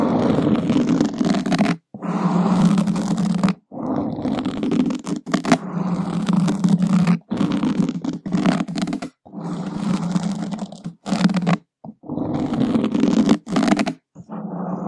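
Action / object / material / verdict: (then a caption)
scrape / open-cell foam microphone windscreen / foam / none. Two wooden skewer points slowly scratch a black open-cell foam microphone windscreen, making a dense, close, muffled rasping scrape. The sound sits mostly in a warm low-mid hum with little brightness. It comes in long continuous strokes broken by brief silent pauses.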